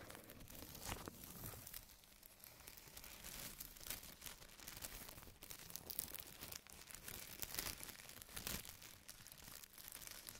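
A large, thin, empty white printed plastic bag is crumpled and smoothed out with both hands. It makes dense, continuous crinkling and crackling, bright and hissy with sharp snaps throughout and a softer low rustle underneath.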